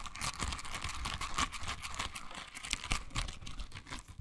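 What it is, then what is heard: Silicone bristle scrubber. A pink silicone bristle scrubber is held in both hands, squeezed, and its bristles scratched with long nails. The result is a dense run of quick, dry, crinkly scratches and clicks with bright edges and soft low rubbing underneath.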